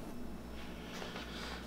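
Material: Nothing is struck.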